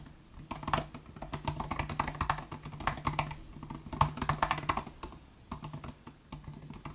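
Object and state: Plastic butterfly laptop keyboard.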